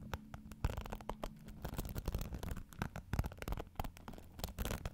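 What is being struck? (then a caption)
Plastic paddle hairbrush with dense bristles. Fingertips and nails scratch and brush across the dense bristles of a pink plastic paddle hairbrush held close to the mic. The result is a quiet, rapid stream of crackly, rustling scratches with short clicky bursts and a heavy, close low end.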